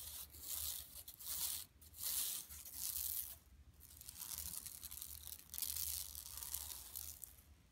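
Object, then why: Woven plastic mesh shopping bag. Long nails on both hands scratch the printed surface of a large, flat, empty yellow woven plastic mesh tote lying on carpet. Bright, rasping scratches come in uneven bursts with brief quiet gaps, over a faint low hum.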